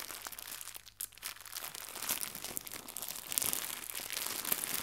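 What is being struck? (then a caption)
Plastic gift bow. A small white crinkly plastic gift bow is squeezed, stretched and crumpled between fingertips with red nails. It makes a continuous stream of dense, bright crackling crinkles with almost no low end, briefly quieter near the first second, then growing steadily louder and busier toward the end.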